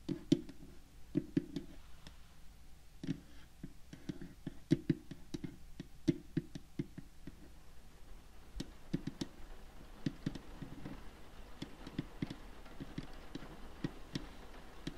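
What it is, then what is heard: Wooden tea box with glass lid. Long fingernails tap quickly across the glass window lid and frame of a dark wooden tea box filled with tea bags. The result is a quiet, steady stream of short, dry clicks and knocks with a low, hollow body and crisp bright edges. Each tap dies away almost instantly, leaving a faint background hum.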